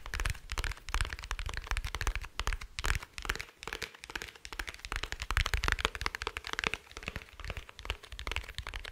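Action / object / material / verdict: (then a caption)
tap / hard plastic glasses case / plastic / none. Fingertips and nails tap along the shell of a small, dark, rigid, hollow glasses case held in one hand. The taps come as a dense, uneven run of short, crisp clicks at a shifting pace, each with a low hollow knock and a bright, crackly edge that dies almost instantly.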